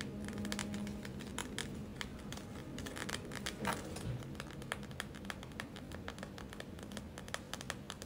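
A gel-filled plastic eye mask is tapped and scratched by long nails. The result is a steady run of quick, sharp clicks and scratchy rasps with slight crinkling over a low, soft rumble.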